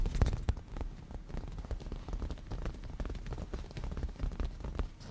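Rapid tapping with the nail tips of both hands on a padded black grained leather cushion gives a dense, continuous patter of soft, low, thudding taps. Each tap dies away almost at once, and together they blend into a rain-like texture.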